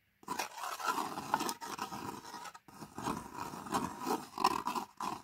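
Long nails scratch and tap the printed foil-paper lid of a sealed plastic Pot Noodle instant noodle cup resting on carpet. The result is a dry, crinkly scraping with quick soft taps, centered around 1 kHz with a bright papery edge, and a brief pause midway.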